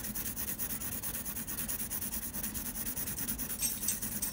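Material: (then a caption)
Paper. A blue mechanical pencil scratches quick, curved shading strokes across a flat sheet of textured drawing paper. The result is a steady, rhythmic, bright scratching with a faint low hum underneath, growing slightly louder toward the end.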